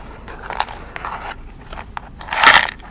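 Long red nails tap and scratch the printed surface of a small red cardboard box of strike-on-box kitchen matches, full and held in both hands. Crisp, dry clicks are separated by papery scratching and rustling, then a louder, brighter scratch comes near the end.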